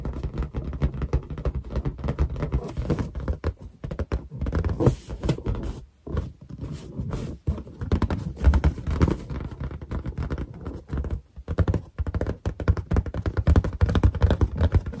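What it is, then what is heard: Latex balloon. Long nail tips and fingertips tap fast on a large, hollow, inflated white latex balloon. The result is a dense, continuous patter of dull, low, drum-like thumps with a boomy hollow resonance and very little brightness. The tapping pauses briefly around 6, 7.5 and 12 seconds.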